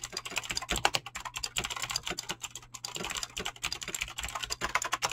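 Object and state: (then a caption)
Mechanical keyboard with PBT keycaps. Fast, continuous typing with fingertips and short nails on a full-size mechanical keyboard with Razer clicky green switches and dyed PBT plastic keycaps, resting on a desk. It makes a dense, bright stream of sharp clicks and clacks that each stop almost instantly, over a faint steady low hum.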